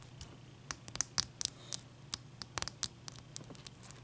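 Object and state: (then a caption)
Ice cube tapped with fingernails. Long dark-painted nails of both hands tap a large, clear, solid ice cube resting on a towel. About fifteen sharp, bright clicks come in an irregular rhythm, each dying away at once, over a faint steady low hum.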